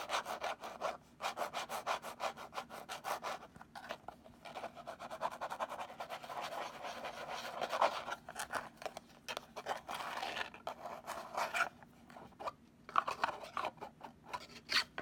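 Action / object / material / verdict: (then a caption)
scrape / small rigid cardboard gift box / cardboard / none. Long nails scratch the top and sides of a small, hollow, purple rigid cardboard gift box held close up. The result is a dry, rasping scratch made of rapid strokes in bursts with brief pauses, centered in the mids with some bright edges. There is no low end.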